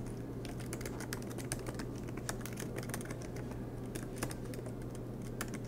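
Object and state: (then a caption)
Plastic laptop keyboard keys. Both hands type continuously with their fingertips on the black plastic, low-profile keys of a MacBook Pro laptop with a silver aluminum body, resting on a green desk mat. Rapid, light key taps with bright clicky edges patter steadily over a constant low hum.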